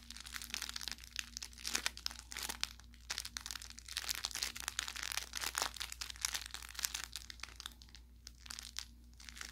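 An orange velour plush carrot cat toy with crinkle filling is squeezed along its body with the thumb and fingers. It makes dense, bright crinkling and crackling with sharp little pops, over a faint steady low hum.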